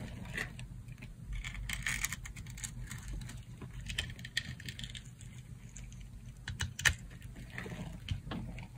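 A solid rectangular bar of dry green soap, held in the hand, is sliced with a metal utility knife blade. Dry, crunchy cutting and scraping crackles come in quick bright bursts over a steady low hum, with one sharper snap near the end.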